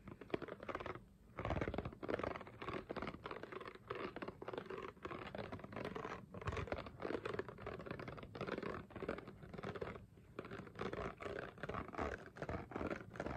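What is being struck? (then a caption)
Ridged plastic water bottle. Fingernails scratch across the ribbed sides of a clear, ridged, hollow plastic water bottle that appears mostly empty. A dense, crackly rasping comes in uneven bursts with brief pauses, mostly mid-range with little high end, for about thirteen seconds.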